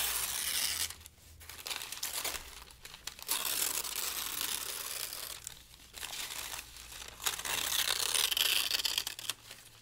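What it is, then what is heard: Thin paper being crumpled and torn. Fingers of both hands crumple and tear a pile of already-torn, thin pale-green paper strips. Dense, bright crinkling and rustling comes in bursts, broken by a few brief quieter pauses, over a faint low hum.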